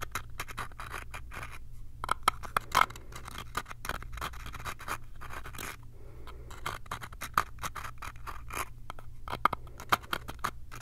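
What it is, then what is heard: Small wooden box. Fingernails scratch and tap the surface of a small, hollow light-wood box with a brass latch, held up close. Rapid, dry scratching mixes with short, sharp wooden taps and a low steady hum underneath. At the end the box is brought close with both hands.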